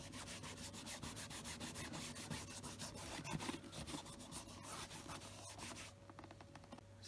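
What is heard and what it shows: Fingertips wrapped in a cloth rub cleaner over the toe cap of a hollow tan leather brogue boot. Quick, brushy rubbing strokes repeat in a steady back-and-forth rhythm, with a bright scratchy texture over a faint low hum. In the last second the strokes grow softer and lighter.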